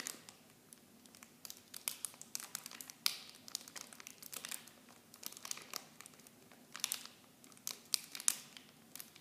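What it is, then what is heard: Plastic film packaging. Clear plastic film wrapped around small blue bottles is crinkled by fingers with long blue nails. The result is a steady run of sharp, bright crackles and rustles with almost no low end. The sounds come in quick bursts with brief quieter gaps between them.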